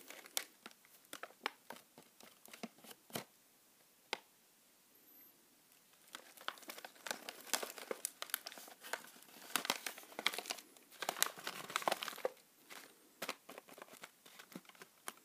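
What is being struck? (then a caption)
Plastic foil snack bag. A medium-sized, apparently full pink metallized plastic bag of Natural Sins beet chips is held in one hand while fingertips rub and crinkle it, possibly tearing it open. Sharp, bright crinkles and crackles come in scattered bursts, ease off into near silence for a couple of seconds, then build into dense, continuous crinkling before tapering to intermittent rustles.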